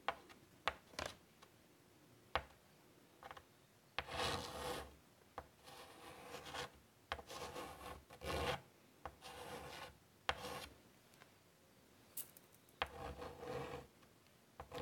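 Chalk held in the fingers scratches lines onto a large wooden-framed chalkboard lying flat, working near its lower right. Short sharp taps alternate with longer gritty, rasping strokes that have a bright edge, separated by quiet pauses.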